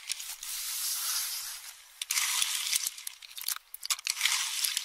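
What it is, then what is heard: Pistachio shells crushed in a metal bowl. A metal spoon stirs and crushes empty pistachio shells in a small, round, hand-held metal bowl that is about half full. A steady, bright, dry scraping rustle gives way after a brief lull to sharp, irregular crunches and clicks. The sound is all high and crisp, with no low end.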